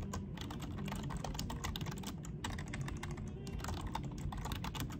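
Both hands type quickly with their fingertips on a full-size black plastic desktop keyboard with low-profile keys, making dense, rapid key taps with bright clicks, while the mouse is not touched. A steady low-pitched background runs beneath the typing throughout.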